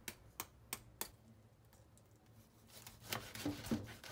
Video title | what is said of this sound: RÔTI DE PORC À LA PEAU CROUTILLANTE - Heo Quay - Cuisine vietnamienne authentique - Aller Ô Vietnam | l'extérieur de la viande est bien croustillant